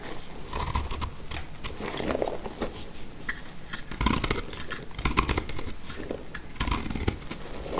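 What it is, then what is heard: Dry soap being cut. A black utility knife blade cuts crumbly chunks from a solid, speckled orange, heart-shaped bar of dry soap that is partly cut and held in the hand. Rapid, crisp crunching and scraping clicks with bright edges repeat throughout over a soft low rumble, and small pieces crumble away.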